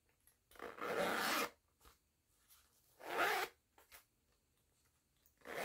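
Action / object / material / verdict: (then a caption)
scrape / woven fabric pouch with nylon zipper / woven fabric / none. Fingertips with long nails zip a yellow nylon zipper open and closed on a small pink and yellow woven jute-look fabric pouch. Each pull makes a bright, raspy zipping burst, with longer strokes near the start and middle and another beginning at the end. Faint light clicks and rustles fill the quiet gaps between strokes.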